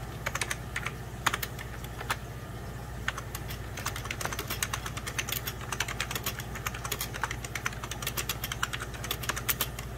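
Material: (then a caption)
Plastic. A full-size 1990s Packard Bell keyboard, with beige plastic keys over a hollow plastic case, is typed on rapidly with fingertips and short nails. The result is a dense run of short, bright plastic clicks and taps that die away almost instantly. A steady low hum sits underneath throughout.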